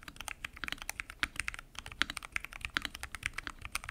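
Fingertips type continuously on a full-size mechanical keyboard with pink and mint PBT keycaps, lubed switches, and a transparent acrylic case. About 32 short, crisp keystrokes land in quick succession, each a bright clack centered around 1.4 kHz with almost no ring and little low end.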